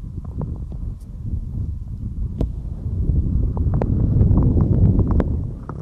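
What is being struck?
Silicone microphone ear.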